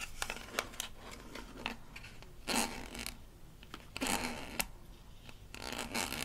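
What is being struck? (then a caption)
Small plastic toy toothpaste tube with paper label. Long nails tap and scratch the paper label and blue cap of a small, rigid plastic toy toothpaste tube from a Melissa and Doug Super Smile Dentist Kit. Quick, crisp clicks and ticks alternate with bright, rasping bursts of scratching that swell and fade several times. The sound is close and dry, with very little ring.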